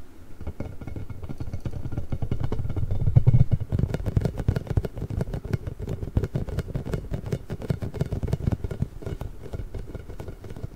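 A large pink hollow inflated rubber ball with nubs, held beside the microphone, is scratched and tapped with fingertips and nails. The result is a dense, irregular stream of soft, low, hollow thumps and brushing scratches that peaks briefly near the middle before settling back to a steady patter.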